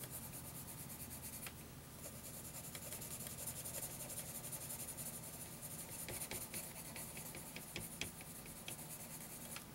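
A graphite pencil tip rubs and scratches back and forth in shading strokes across a lined paper notebook page. It makes a steady, soft, scratchy rasp with a bright hiss, broken by occasional sharper ticks, over a faint low hum.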